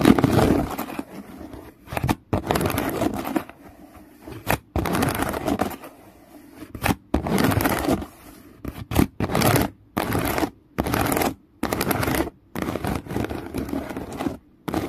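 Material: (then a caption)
Plastic. Fingernails scratch across the woven strap surface of a woven plastic basket resting on a towel. Dry, rasping scratches come in repeated bursts separated by short silences, with a mid-range texture and little high or low content.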